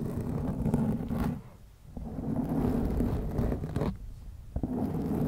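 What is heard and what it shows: Long glittery nails scratch the surface of a black foam windscreen on a white microphone. The result is a dense, muffled, rumbling scratch that is heavy in the lows and has almost no bright top. It drops quiet for a moment twice before starting again.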